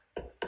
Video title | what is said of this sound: Master Class for Home Inspectors: Step 7, Tips for Inspecting Stucco | see how that sounds much more solid, firm? That's a hard coat system.